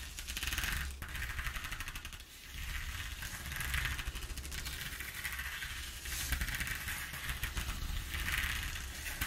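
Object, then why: Corrugated cardboard sheet. Long nails of both hands scratch fast across the ridges of a ribbed corrugated cardboard sheet. The result is a dense, rapid rattling scrape that swells and fades in bright waves over a low, steady rumble.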